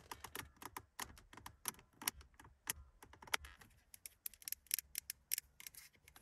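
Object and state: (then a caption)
Plastic wiper control stalk. A black plastic multifunction wiper and indicator stalk on the steering column of a classic Mercedes 200, long and thin and likely hollow, is tapped and scratched with long acrylic nails. Quick, dry, bright clicks and ticks come in an uneven stream, separated by brief soft scratching. Each sound stops almost instantly with no ring.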